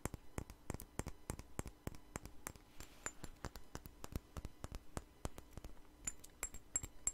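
Long nails tap and scratch a clear glass perfume bottle with a white flower cap, both the glass body and the cap, as it is turned in the hands. A quick, steady run of sharp, dry clicks fades almost at once, with bright, high glassy pings coming through near the end.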